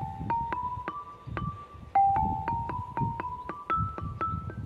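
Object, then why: Limestone lithophone bars. A row of long, solid, flat grey Kilkenny limestone bars with drilled holes, forming a marine-themed lithophone with relief carvings, lies side by side outdoors. The bars are tapped with the metal shaft of a red-handled screwdriver. Bright, ringing tuned notes climb twice from about 800 Hz to around 1.3 kHz, each with a sharp click and a short ring.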